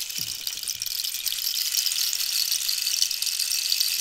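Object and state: Cactus wood rainstick.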